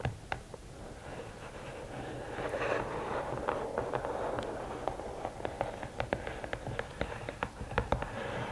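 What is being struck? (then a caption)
Rigid cardboard gift box. Long nails scratch and tap on the lid of a closed, hollow red and black rigid cardboard gift box. A steady, soft scraping hiss builds over the first few seconds and then gives way to sharp, quick taps with almost no ring. The taps sound dry and slightly hollow and fall at an irregular pace.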